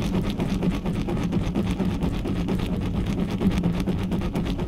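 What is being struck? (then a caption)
Metal mesh microphone grille. Long natural nails and fingertips of both hands scratch fast and rub over the hollow metal mesh grille head of a large, uncovered black USB condenser microphone on a stand. The result is a dense, continuous, boomy scratching rumble, heavy in the low end around 180 Hz, with rapid, slightly irregular strokes at a steady loudness.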